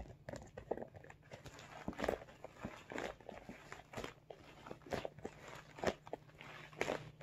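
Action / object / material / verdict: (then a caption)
tap / soft vinyl makeup bag / PVC vinyl / none. Fingertips tap on top of a hollow, soft, medium blue holographic PVC/vinyl makeup bag while hands squeeze its sides. Quiet, irregular crinkly taps and soft crunchy squeezes rise and fall over a faint, steady low hum.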